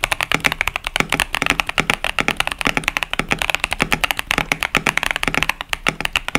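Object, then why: Mechanical keyboard with plastic keycaps. Fingertips of both hands type continuously on a KBD67 Lite 65% mechanical keyboard with Boba U4T tactile switches and pastel plastic keycaps. A rapid, steady stream of short, bright clacks and taps is heard. Each keystroke is sharp with a quick, dry decay and little low end.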